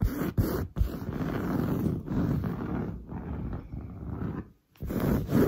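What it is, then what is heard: Woven fabric sofa upholstery. Long blue nails scratch fast and aggressively across a grey-brown, textured, padded woven sofa fabric. The result is a dense, rough, low-heavy rasping with short breaks and a brief silence near the end before the scratching resumes.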